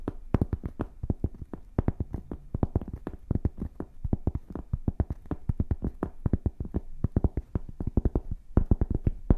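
Long painted fingernails scratch and tap quickly on a flat, solid rectangular cork board held up in the air. The result is a dense, uneven stream of soft, dull taps heavy in the low end, each dying away almost instantly, with faint scratchy rustle between them.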